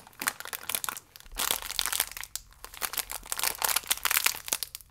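A full, small plastic-film biscuit pack is squeezed and crinkled with the fingers. Dense, bright crackling and crunching comes in bursts, swelling and fading across the five seconds with short quiet gaps between.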